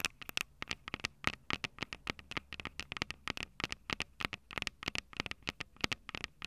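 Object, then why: Handheld audio recorder with metal mic capsules. Long purple nails tap and scratch the metal mic capsule heads of a small Tascam DR-05 handheld recorder with a plastic body and two metal capsules. The result is a quick, uneven stream of dry, bright clicks and scratchy ticks, centered around 2 kHz with very little low end. Each click stops instantly with no ring.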